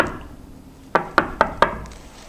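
Four quick knocks on a double-sided ceramic tabletop sample, which rests with nothing supporting it underneath, to show how it sounds compared with single-sided ceramic. Each knock is a short, dry, mid-pitched tap that dies away almost at once, with a quiet background between them.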